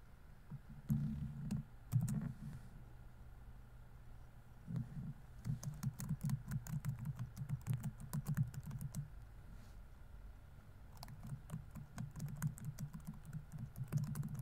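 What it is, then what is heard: Plastic laptop keyboard. Fingertips type continuously on a laptop keyboard with plastic keys, giving soft, dull tapping that sits mostly in a low thuddy register with faint bright clicks on top. The typing comes in three quick runs separated by short pauses, with each keystroke dying away almost at once.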